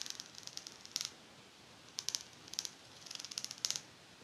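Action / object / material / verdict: flick / metal pet comb with fine teeth / metal / none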